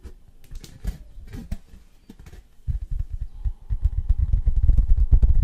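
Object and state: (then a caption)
Tin novelty license plate. Fingertips and nails tap quickly on the face of a thin embossed metal novelty license plate with a Beatles design, a flat sheet about 30 cm wide held in both hands. Scattered bright, crisp clicks come first. They give way to a denser run of dull, low taps that grow steadily louder, with a faint thin metallic ring underneath. The result is fast, uneven tapping with short, dry decays.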